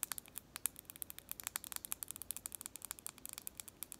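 A long, sharpened pencil of solid wood with purple paint is held between the hands while long nails scratch and tap quickly along its shaft. The result is a rapid series of short, crisp, bright clicks and scratches with almost no ring and very little low end, over a quiet background.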